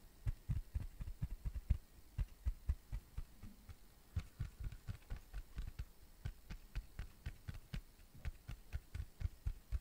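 Fingertips and nails tap and scratch a round, flat, tan cork coaster that is thin and solid. The result is a quick, uneven run of some two dozen dull, low, muffled taps, each dying out almost instantly, with faint bright scratchy ticks on top.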